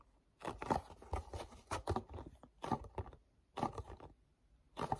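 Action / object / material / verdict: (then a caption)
scrape / paperboard snack box / cardboard / none. Fingertips grip, rub and tap the printed front and flap of a small, hollow printed paperboard mochi snack box held in both hands. Short bursts of dry, scratchy rubbing and soft papery taps come and go, separated by near-silent pauses.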